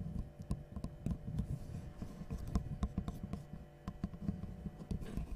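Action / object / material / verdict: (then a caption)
tap / small wooden L-shaped piece / wood / none. A small, light, solid wooden L-shaped angle piece, held in both hands, is tapped and scratched with long nails. A quiet, irregular run of short, dull, low taps mixes with soft scratching, each tap dying away almost instantly with no ring.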